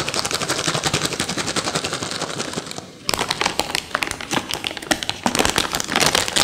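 A yellow plastic M&M candy bag full of candies is held and crinkled by hand, then scratched and tapped with long fingernails over a saucer. The result is a dense run of bright, crackly crinkles and quick clicks, with a brief near-silent pause around the three-second mark before the busy rustling and tapping resume.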